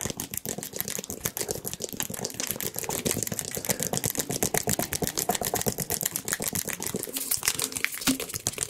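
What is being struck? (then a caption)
Plastic squeeze bottle. A white and yellow plastic squeeze bottle with a pointed nozzle cap, hollow with its contents not visible, is tapped rapidly with fingertips and nails close to the microphones. The result is a fast, uneven stream of dry, bright clicks and taps that stop short with no ring.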